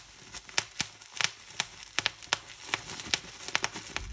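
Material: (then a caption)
Plastic. Clear plastic bubble wrap is held and twisted while fingertips and thumbs pinch and pop its air bubbles. Sharp, bright pops crack out irregularly over a soft, constant crinkling rustle of the plastic, each pop stopping almost instantly.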